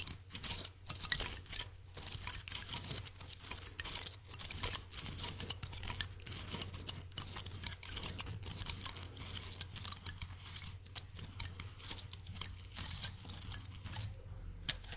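A small pink plastic blister pack, empty-looking and held in one hand, is tapped and scratched with long acrylic nails close to the mic. Quick, bright clicks and crisp scratching patter in dense bursts over a steady low hum, with a quieter stretch near the end.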